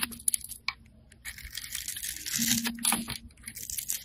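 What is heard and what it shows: A metal blade cuts and scrapes a grid into a solid rectangular black bar of soap held in the hand. It makes crisp, bright scraping and shaving sounds in quick, uneven strokes, with a faint low hum underneath. Small pieces crumble off the bar.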